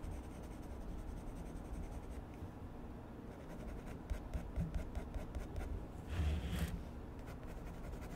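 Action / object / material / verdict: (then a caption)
scrape / colored pencil scratching on a paper sketchbook page / paper / none. A light blue colored pencil is rubbed and scratched across the paper of a spiral-bound sketchbook on a desk while drawing, with the other hand resting on the pad. A soft, steady, low scratching continues throughout, broken by a run of short, sharper strokes midway and a brief louder rasping burst near the end.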